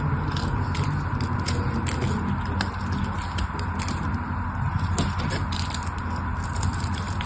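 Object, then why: Soap bar scraped with a metal blade. A metal blade scrapes and scores the surface of a solid pink bar of soap held in the fingers. A steady, dense scraping and crackling runs throughout, with faint bright ticks over a heavy low rumble.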